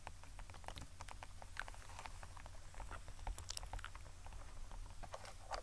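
Long acrylic nails scratch, tap and rub across the quilted, textured faux leather surface of a small flat black zip case held close to the microphone. Dense, quiet crackling ticks and scrapes patter over a steady low hum, with brief bright clicks scattered throughout.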